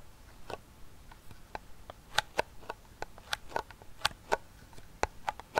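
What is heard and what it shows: A small, closed, hollow round silver metal tin holding a fidget spinner is held in one hand and tapped and scratched on its side wall and rim with the fingertips and nails of the other hand. It gives an irregular series of sharp, quiet taps with a brief metallic ping around 840 Hz and bright edges, each dying away almost instantly. Soft scratchy rustling fills the gaps between them.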